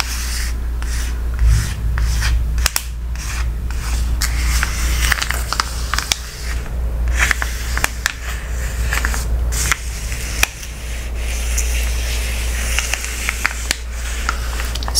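Fingertips and painted nails of both hands rub and scratch across a flat, empty Amazon kraft paper padded mailer with a barcode label, lying on a wooden table. Dry papery scratching and crinkling comes in short bursts with bright, hissy edges over a steady low hum throughout.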